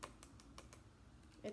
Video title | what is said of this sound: What shape do we see in the object? | if I tap on it it makes the tapping sound it's very quiet